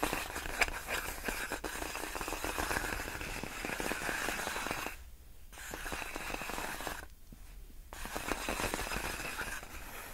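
Long fingernails on one hand scratch slowly across large, clear, inflated air-column packaging wrap made of hollow, air-filled plastic tubes. The result is a dense, bright, crackly scraping and crinkling texture that stops briefly twice, around the middle and again near the end, before resuming.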